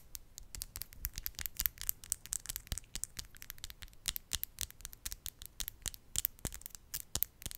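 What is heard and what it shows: Long, decorated, solid acrylic nail tips are tapped and scratched against each other close to the mic. The result is a rapid, uneven stream of sharp, bright clicks and short scratchy scrapes, each dying away almost instantly, over a quiet low rumble.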